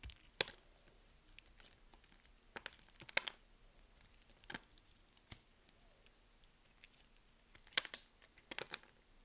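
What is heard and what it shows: A metal blade shaves slices off the scored surface of a solid yellow soap bar held in the hand, and the pieces fall off as it cuts. The result is a quiet series of crisp, high-pitched crackles and snaps with brief dry scraping between them. Each sound stops almost instantly, with no ring.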